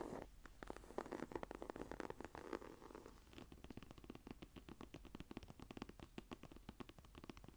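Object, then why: Textured leather journal cover. Fingertips and nails scratch and tap the cover of a closed, dark green textured leather journal with a cord. Quiet, dry, rapid strokes and taps are heard, with a soft rasping scratch in the first few seconds and then steady, dense tapping. The sound sits in the low-mid range, and each tap dies away almost instantly.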